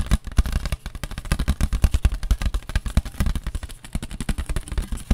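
A paper plate is tapped with the fingers in a rapid, uneven string of dull, papery taps. Each tap is short and thumpy with almost no ring, and the sound sits mostly in the low end.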